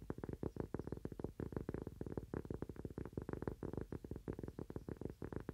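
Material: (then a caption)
Cork. A thin, solid, toast-shaped cork coaster is held upright in both hands and tapped and scratched with fingernails. The result is a fast, steady stream of short, dull taps with a soft low thud, each one dying almost instantly.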